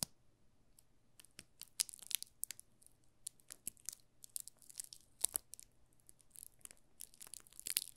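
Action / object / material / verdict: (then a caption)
scrape / soap bar in plastic film / plastic film / none. Fingertips crinkle and scratch the loose plastic film wrapped around a solid yellow soap bar held in the hands. The result is a quiet, steady stream of sharp, bright crackles and tearing-like rustles, with almost no low end beyond a faint steady hum.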